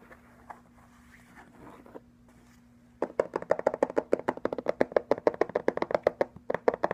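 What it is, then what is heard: Suede ankle boot. An empty brown suede ankle boot with a rubber sole and a stacked heel is held up and tapped with fingertips and nails on the sole and the suede upper. After about three seconds of faint rustling over a low steady hum, around thirty quick, dry, muffled taps follow in an uneven rapid stream until the end.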